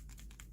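A silkworm cocoon is shaken, and the pupa inside knocks against its walls. This makes a quick series of light clicking, rattling taps. Four taps are heard over a constant low hum.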